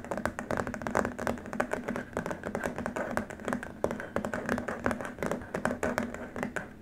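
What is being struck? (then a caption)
Plastic keyboard wrist rest. Both hands scratch the surface of a long, flat white plastic keyboard wrist rest with short nails. The result is a dense run of quick, dry scratches and taps with short decays, mostly in the mid range with little low end.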